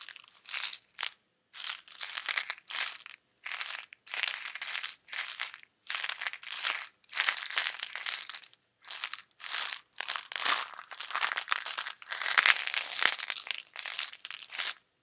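A small, hollow white plastic Advil bottle holding pills is held in fingers with red nails and shaken or tapped. Bursts of dry, bright rattling clicks come in quick clusters separated by short silences, with almost nothing in the low end. The pills clatter crisply against the plastic walls, with each burst stopping sharply.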